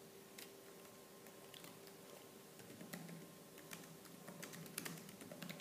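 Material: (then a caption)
Plastic. Fingertips with purple-painted nails type fast on the black plastic keys of a laptop keyboard. Quick, bright clicks and taps patter irregularly over a soft, steady background, at a fairly quiet level.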